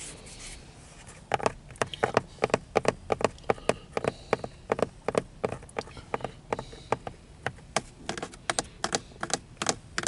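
Bare fingertips and short nails tap and scratch along the top of a thick, solid, dark grey textured car steering wheel rim with a molded polyurethane grip. A rapid, uneven series of short, dry, clicky taps with light scraping follows a quiet opening second, each hit dying away almost instantly.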